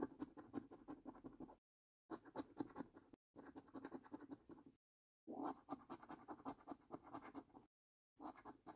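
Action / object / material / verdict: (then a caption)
scrape / thin cardboard scratch card scratched with a coin edge / cardboard / none. The edge of a metal coin scratches across the top panels of a new, thin cardboard paper lottery scratch card. Quick, dry, rasping strokes come in five bursts separated by short silences. The sound is quiet and scratchy, centered in the low mids with faint bright grit.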